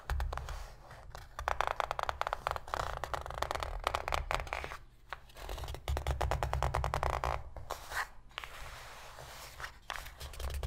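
Long pink fingernails scratch and tap the inner bottom of an open, empty, shallow white cardboard box. The result is a dense run of quick, dry papery scrapes and short clicks that come in bursts with brief pauses, over a steady low rumble.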